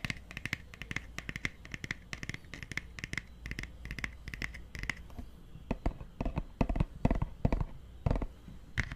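Fingertips and nails scratch and tap a solid purple hardcover book, first held at an angle and then laid flat close to the microphone, working over its cover and edges. The first half is a quick, steady run of dry scratching strokes; the second half shifts to sharper, louder taps and knocks with a low, dull thump under them. Each sound is short and dies away almost instantly.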